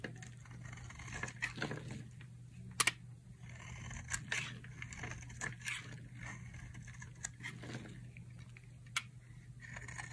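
A solid teal-blue dry soap bar is held in one hand while a utility knife carves thin sticks from its edge. Crunchy, bright cutting and scraping sounds come in short bursts with sharp clicks, over a steady low hum.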